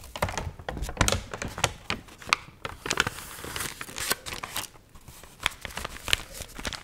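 A water-wrinkled, wavy dried paper magazine is flipped through and crinkled with long nails and fingertips. Dense, crisp crackling and rustling fill the clip, with sharp bright snaps rising above a soft papery hiss.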